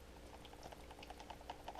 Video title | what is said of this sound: Noco Genius 5 Charger and Maintainer Unoboxing Part 1 | it's got water in it. You can hear it kind of squishing around in there.